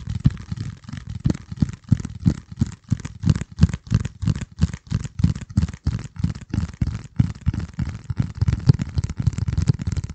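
A flat, hand-sized piece of dark corrugated cardboard is held over the microphone and scratched and squeezed with the fingertips. The result is a steady stream of dull, muffled crackling and scratching bursts, mostly low and boomy, with a faint high hiss. The bursts come at an irregular pace for the whole clip.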